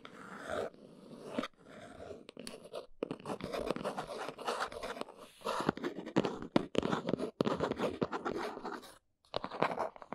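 Long nails tap and scratch the top and sides of a small, hollow, plain brown cardboard box standing on a fuzzy surface. The result is a dense run of dry, crackly scratches and quick papery taps in the low-mid range that die away almost instantly, with brief pauses between bursts.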